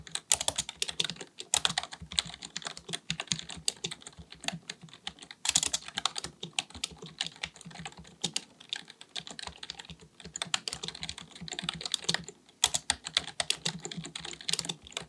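Both hands type continuously with their fingertips on a black, full-size plastic keyboard, likely mechanical with a hollow body, resting on a desk. Rapid, bright, dry key clicks and taps run in dense bursts with brief pauses, and each stroke dies away almost instantly.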